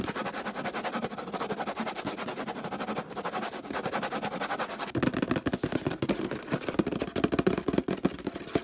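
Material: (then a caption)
Plastic. A large orange hollow plastic detergent bottle with a handle and a label is rapidly tapped and scratched with fingertips and nails. For about the first five seconds, a dense, steady scratching and rustling dominates. Then come louder, sharper taps with a hollow, mid-low plastic resonance.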